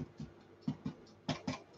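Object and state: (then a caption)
Baked-through scones, hollow sound. The bottoms of freshly baked scones are tapped six times, giving short, dull, hollow knocks that die away almost at once. The hollow sound, as when tapping a loaf of bread, means the scones are pretty much done.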